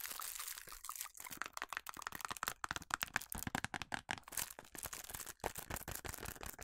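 Long nails scratch and tap on a small, hollow cardboard food colouring box, with some hand movement. The result is a dense run of dry, crinkly scratches and quick taps that sound bright and papery, with little low end and almost no ring after each tap.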